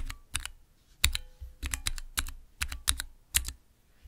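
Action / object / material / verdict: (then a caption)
tap / clear acrylic mechanical keyboard switch tester with plastic keycaps / plastic / none. Fingertips press and type on the transparent keycaps of a small clear acrylic Cherry MX mechanical keyboard switch tester. About sixteen quick, separate clacks sound in uneven pairs and runs, each with a low thock beneath a bright plastic click. Every key strike dies away almost at once.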